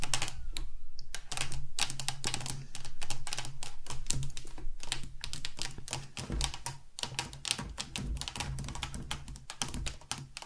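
Both hands tap and click very long acrylic nails on a hollow metal Gillette shaving foam aerosol can standing on a wooden table. Rapid, irregular bright clicks and dull taps run throughout, each decaying quickly, over a steady low hum.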